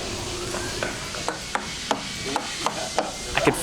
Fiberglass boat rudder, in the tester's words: that's all relatively what we expect to hear in a Rudder